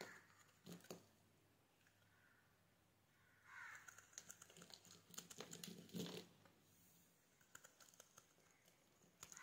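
A metal box-cutter blade slices and scrapes through the grid-scored surface of a solid yellow soap bar held in hand, and the scored cubes crumble off. Soft, crisp crunches and scratchy scraping come in bursts with quiet gaps between them. The busiest, densest stretch of crackling falls in the middle of the clip.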